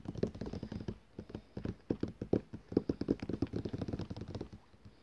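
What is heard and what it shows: Fingertips and nails, on a hand wearing rings, tap quickly on the cover of a thick glossy paper catalogue lying closed and flat on a table, its solid stack of pages beneath. About thirty short, dry taps come in a fast, uneven patter, each a muted low-mid thud with no ring.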